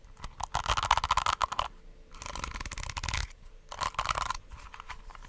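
Long acrylic nails scratch and tap across the plastic bristles and back of a small pink plastic detangling hair brush with a hollow, handle-less body, held close to the mic. The result is three bursts of dense, rapid, crackly scratching with a bright edge and a mid-range rasp around 1 kHz. Quieter, softer rustling fills the gaps between bursts.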